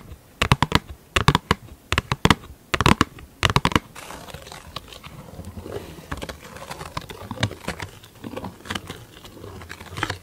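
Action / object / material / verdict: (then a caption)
tap / thin plastic lid / plastic / none. Long glittery acrylic nails tap a large, thin, hollow round black plastic lid held up in the air, making quick bursts of sharp, dry clicks. After about four seconds the nails switch to scratching, giving a steady rasping hiss broken by the occasional light tap.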